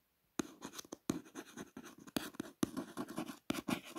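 A long fingernail traces the silver foil "Faster Brand" lettering on a purple cardboard box. It makes quick, dry scratching strokes in short bursts separated by brief pauses, each scrape sounding crisp with no ring.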